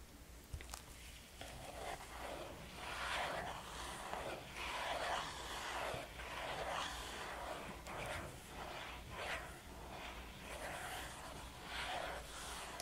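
Long painted fingernails tap and scratch a flat, hollow red Sephora VIB Rouge cardboard gift box lying on a table. Soft, papery scratching swells and fades in waves, broken by a few brief, sharp taps over a steady low hum.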